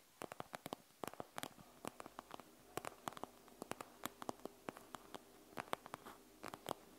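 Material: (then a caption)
Plastic. Long nails scratch and tap the gel beads of a panda gel bead eye mask with a plastic shell. Quick, bright clicking taps come in irregular bursts with faint scratchy rustling between them, each tap dying away almost at once.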